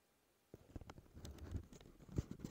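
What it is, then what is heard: Cardboard box tapped and scratched. Fingertips and short nails tap and scratch the front face of a hollow, rectangular dark teal cardboard box (CK Free perfume packaging) resting on a wooden table. After a half-second of silence come quiet, dull, low thumps with very short ring, mixed with soft scratchy rustles. A firmer tap lands near the end.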